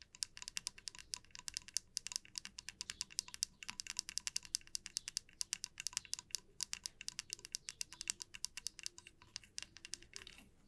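Long nails tap and scratch the body and teeth of a small solid wooden comb resting on a felt mat. A quick, steady stream of dry, bright clicks and faint scratches fills the clip, each tick short with almost no ring and very little low end.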